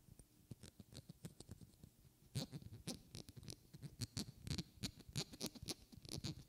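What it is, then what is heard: Glass bottle tapped with fingernails. Long red-painted fingernails tap and scratch a small, partly filled glass perfume bottle with a white cap held close to the mic. A quick run of sharp, bright clicks with a soft low thump beneath each starts gently, then grows louder and denser after about two seconds. Light scratchy patter fills the gaps between taps.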